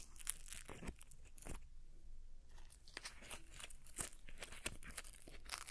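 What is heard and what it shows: A single fresh, pale green napa cabbage leaf, hand-sized and solid, is crumpled, bent and torn by fingers with long painted nails. The result is a dense run of crunchy, crisp tearing and crackling snaps with bright, sharp edges over a low rumble. Part of the leaf ends up as a smaller torn-off piece.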